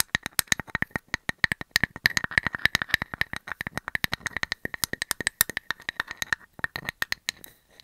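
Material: Wood.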